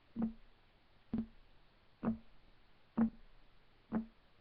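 Fingertips of both hands rapidly tap on a solid, flat, light wood desk top. Five dull, hollow knocks sound at a steady pace of about one per second, each centred near 220 Hz and dying away almost at once, with no high ring.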